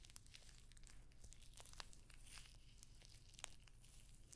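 Long nails scratch and tap across rows of small hollow rose-gold metallic pyramid studs covering a rectangular clutch bag held up close. The result is a quiet, steady crinkly scratching over a low hum, broken by sharp, bright little clicks that stop instantly with no ring.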